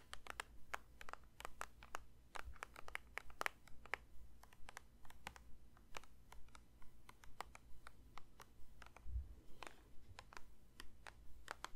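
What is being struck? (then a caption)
Plastic lotion bottle. A plastic lotion bottle is lightly tapped with the fingers, making a steady stream of quick, dry, clicky taps in a loose, uneven rhythm. The taps are soft and short with no ring, over a faint low hum.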